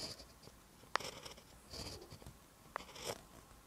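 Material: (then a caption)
Paper. A pen held in the hand writes green text on a lined paper notebook page, its tip scratching along the paper. Soft, quiet strokes are heard, with two sharp, bright ticks at about 1 and 2.8 seconds among the brushing scratches.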